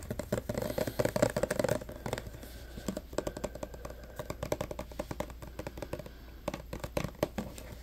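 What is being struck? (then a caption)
Plastic hand sanitizer bottle. Fingertips and short nails rapidly tap and scratch the sides of a clear plastic 236 ml hand sanitizer bottle full of green gel, held in both hands. A dense burst of loud, hollow plastic taps with a tone near 600 Hz fills the first two seconds. Quieter, scattered clicks and light scratches follow, with occasional stronger taps.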